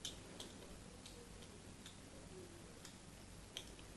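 A small metal knife scrapes and cuts thin shavings from the plain side of a solid white bar of soap held upright, with repeated scratching strokes. Soft, bright scratches and brief crisp ticks come over a low, steady background hiss.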